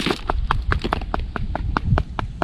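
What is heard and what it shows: A finished mortar cap on top of a rebar-reinforced stone retaining wall is tapped in a quick, even series of short, dry knocks, each with a brief mid-range click and almost no ring, over a low background rumble. The cap sounds solid rather than hollow, meaning the mortar is firmly bonded.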